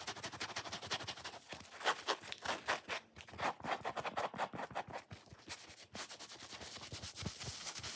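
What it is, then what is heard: Foam sponge. A solid, watermelon-shaped foam sponge is held and bent while fingernails scratch and rub its grey-white foam side. The result is a quick, dense series of dry, bright scratching and scraping bursts that stop with almost no ring and carry little low-end.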